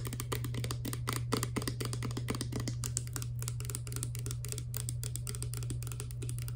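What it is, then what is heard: Plastic pump bottle. Long black nails tap rapidly on a clear plastic Garnier Fructis hair serum pump bottle, hollow and partly filled with liquid. The result is a fast, steady stream of light, crisp clicks over a constant low hum.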